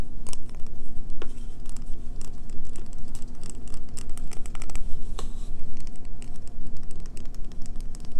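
Long fingernails rapidly tap and scratch a solid green bar of soap held in the hands, making a dense stream of sharp, bright clicks and scrapes. A steady low hum runs underneath throughout.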